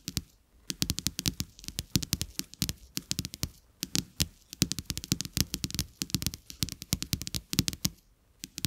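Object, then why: Coated paper playing cards on carpet. Two thin, solid, flat coated-paper playing cards with checked backs lie side by side on a carpet and are tapped by the fingertips and nails of both hands. The result is a rapid, irregular stream of dry, crisp clicks, each with a bright, high snap over a soft low thud, dying away almost instantly. A few brief pauses break up the steady flurry of taps.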